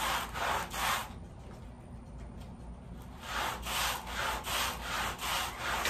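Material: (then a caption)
Textile. A wet, soapy woven pile area rug lying on a plastic sheet is scrubbed with a red-handled bristle brush. Rhythmic, bright, hissing brush strokes rasp across the pile, fade into a quieter, softer stretch of scrubbing, then return as steady back-and-forth strokes.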